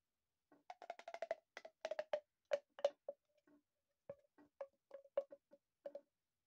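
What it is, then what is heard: Plastic pop tube. An empty, long, hollow, corrugated blue plastic pop tube is held in both hands with the fingertips and stretched, compressed and bent so its ribbed sections pop and click. Around twenty short, dry, woody clicks come in irregular bursts, each centered near 570 Hz with a bright crackly edge and almost no ring. There are brief pauses between the clusters.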